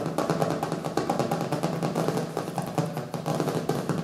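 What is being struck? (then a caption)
Hardcover book. Fast fingertip and nail tapping with both hands on the colorful printed cover of a small, solid hardcover book resting on a wooden table. It makes a quick, steady run of dull, woody knocks with a hollow mid-range body, little brightness, and a short decay.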